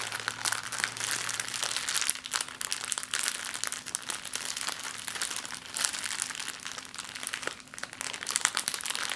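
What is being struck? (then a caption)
Small plastic zip-lock bag. A small, clear, empty plastic zip-lock bag is held in both hands and scrunched with long nails and fingers. It makes a steady stream of dense, bright crinkling and crackling over about nine seconds, with a faint low hum underneath.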